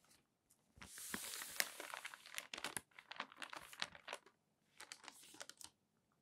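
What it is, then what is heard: Newsprint newspaper being handled. Fingertips rub the page of an open newsprint newspaper, then a large sheet of the thin paper is lifted and turned. Bright, crinkly rustling comes in bursts with sharp crackles, separated by brief silences.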